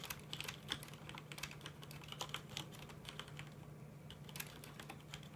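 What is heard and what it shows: Both hands tap with their fingertips on a full-size black plastic mechanical computer keyboard with red keycaps, producing a steady run of quick, bright, clicky keystrokes that each end almost instantly. A faint, steady low hum sits underneath the typing.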